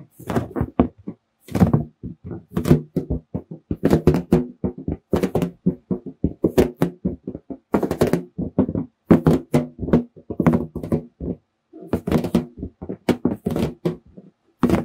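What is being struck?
Inflated latex balloon.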